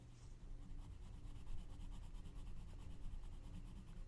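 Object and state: Pencil coloring on a paper page.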